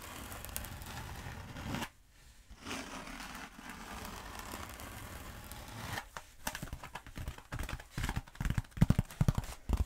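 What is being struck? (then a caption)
Foam roller. Long nails tap and scratch the coarse foam surface of a long black foam roller while one hand holds it. The first part is a steady dry scratching with a brief pause near two seconds. It then turns into quick, uneven, crisp taps that grow louder toward the end.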